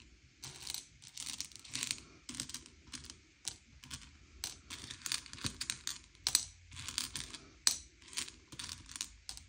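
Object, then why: Hard sugar-shelled chocolate candies on a plate. Fingertips slide and push a pile of small, hard, sugar-shelled M&M's candy-coated chocolates around a grey plate, sorting them by colour. The candies give off bright, dry clicks and short rattling bursts as they knock against each other and the plate, each burst dying away almost at once. The clattering comes in uneven, quiet clusters with brief pauses between pushes.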